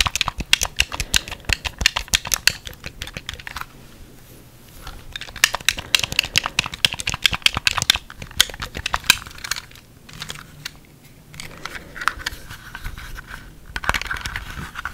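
Fingertips press and click the buttons of a single white hard-plastic Wii remote, hollow and handheld, held in one hand near the microphone, and tap on its plastic shell. The result is a rapid run of crisp, bright, very short clicks and taps that die away almost instantly, with a couple of quieter, sparser stretches between the busier bursts.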